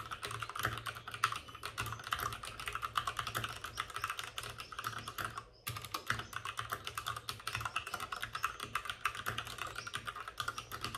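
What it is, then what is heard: Plastic mechanical keyboard. Both hands rapidly tap with their fingertips on the plastic keycaps of a white, backlit RGB mechanical computer keyboard resting on a desk with a padded wrist rest. The result is a dense, continuous stream of bright, sharp clacks centred around 1.3 kHz, with a faint low hum beneath. Typing pauses briefly just before the six-second mark and then resumes at the same quick pace.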